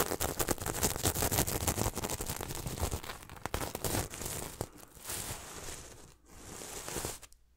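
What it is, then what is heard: Sequin pillow being rubbed. A hand sweeps and rubs across a red and silver reversible sequin throw pillow with a heart design, making a dense, bright rattle of crinkly clicking and scraping. The first few seconds are busy and loud, then the sound eases into softer swishing strokes broken by brief pauses.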